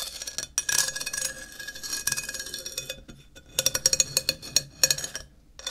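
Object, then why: Ceramic tile. A thin wooden stick taps rapidly along the edge of a flat, solid grey ceramic tile held upright. It makes bright, high clinking clicks that die away almost instantly, with a brief pause midway before a sharper run of taps.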